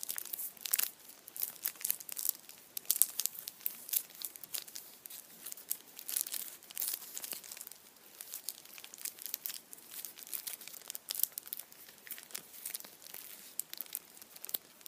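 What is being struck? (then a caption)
Chocolate figure in aluminium foil. A Kinder chocolate Easter bunny wrapped in blue and orange aluminium foil is turned in the hands while the foil is squeezed and rubbed with fingertips. The result is a steady, quiet stream of bright, crisp crinkling and crackling with no low end, and the many short crackles rise and fall without pause.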